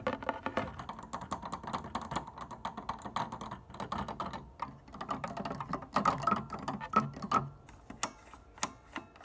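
Long, dark-painted nails and fingertips tap and scratch across the white plastic keytops and black sharps of an upright wooden piano's keyboard without playing any notes. The result is a steady stream of quick, dry, clicky taps with a mid-range tone near 1.3 kHz, little low or bright content, and almost no ring after each hit.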